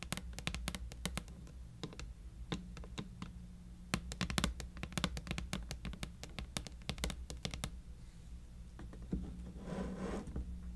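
Long painted nails tap and scratch across the lid and edges of a medium-sized, hollow, clear acrylic (plexiglass) box filled with white preserved roses. Quick, sharp, dry clicks come in bursts over a steady low hum. A softer, bright scratching swish rises near the end.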